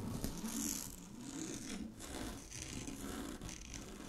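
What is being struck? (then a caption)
Synthetic satin fabric sheet. Long glittery fingernails scratch across a large sheet of shiny blue synthetic satin fabric lying flat. The result is a steady, dense scratching rustle with a bright, hissy top and a soft lower body, swelling and easing slightly as the strokes change pace.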